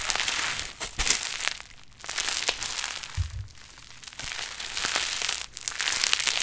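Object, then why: Play foam of tiny foam beads in a sticky binder. A large pink mass of sticky play foam, a foam-bead modelling clay made of tiny foam beads in a binder, soft and solid, is pulled, squeezed and kneaded with fingertips and long nails close to the microphone. Dense, bright crackling and crinkly crunching fills the clip with almost no low end. It comes in busy bursts separated by briefer, quieter stretches.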